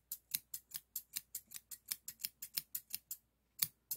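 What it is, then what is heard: Steel thinning shears. Solid stainless steel hair thinning shears with a toothed blade are held in the hand and repeatedly opened and closed, producing 19 crisp, bright metallic snips with rubbing and clicking. The snips come in a steady run, then pause before two final cuts, each dying away almost instantly.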